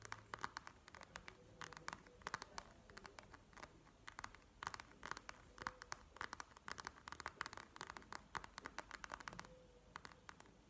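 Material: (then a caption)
Plastic. Long manicured nails tap and scratch the clear plastic shell of a flat panda eye mask filled with gel beads, lying on a table. Quick, sharp plastic clicks come in uneven bursts throughout, each dying away almost instantly, with a bright crisp edge. Soft scratchy rustling fills the gaps between the taps.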